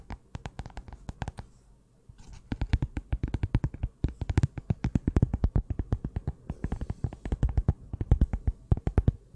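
Long nails rapidly tap and scratch the cardboard cover of a closed small pink notebook, held just above a Blue Yeti microphone without touching it. The quick, dry taps come in dense bursts with a short pause near the two-second mark. Each tap is deep and muffled, with a soft scratchy texture, and dies away almost at once.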